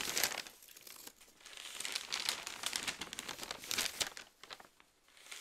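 A large open newsprint newspaper is held in both hands while its pages are flipped and crinkled. Dense, bright crinkling and rustling comes in waves that swell and fade, dipping to near quiet before a final soft rustle.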